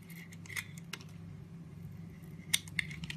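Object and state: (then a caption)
Bar of soap being carved. A metal craft blade shaves and scrapes curls off a hand-sized solid blue bar of soap with flower prints, held in the hand. Quiet, crisp scraping clicks with a bright edge come at an uneven pace over a low, steady hum, with the sharpest ticks near the end.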